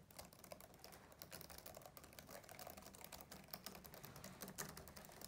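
Fingertips type and tap on the plastic keyboard of a black laptop. A quiet, steady stream of rapid, overlapping key clicks comes through, each one bright and crisp over a soft low thud. The clicks die away almost instantly with no lingering ring.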